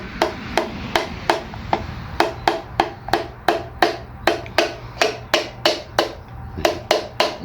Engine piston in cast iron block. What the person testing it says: you get that solid sound. You hear that that uh echoey sound where like it's vibrating through the whole engine.